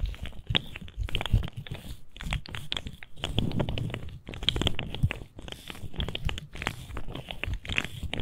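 A colorful articulated plastic fidget slug, a hollow segmented toy, is held in both hands and flexed with the fingertips so its segments click. Rapid, dense bursts of sharp plastic clicks and crinkly crackles come in uneven clusters with short pauses, over soft low handling thumps. The clicks are bright and dry and stop instantly with no ring.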